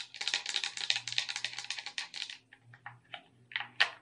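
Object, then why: Plastic game controller. Long red nails tap and scratch across the buttons and body of a hollow, handheld black plastic gamepad with red accents. A rapid run of bright, dry clicks and scrapes fills the first half, then thins into a few sharper, isolated taps. Each tap cuts off almost at once, over a faint low hum.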